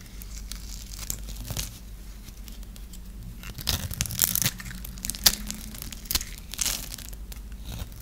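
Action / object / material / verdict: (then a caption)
scrape / bar of soap scraped with a knife / soap / none. A hand-held, dry, solid blue and white striped bar soap is scraped and carved with a metal knife blade. The clip is a close, crisp run of scratchy, crumbly scraping and crunching, with brighter sharp crackles peaking around the middle and a steady low hum beneath.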